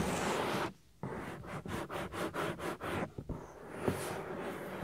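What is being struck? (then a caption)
Silicone ear of a binaural microphone. Fingertips and nails rub and scratch the soft, solid silicone ear of a 3Dio binaural microphone. A steady close rubbing drops to near silence, then returns as a quick run of rhythmic scraping strokes before settling back into continuous muffled rubbing with a brief brighter scratch.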